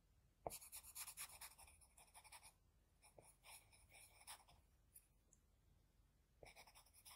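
A wooden HB pencil tip makes repeated short scratching strokes on a flat white drawing sheet while shading the eye. Quick bursts of bright, dry scratching come in clusters, with quieter gaps and a few isolated strokes between them. A fresh run of strokes picks up near the end.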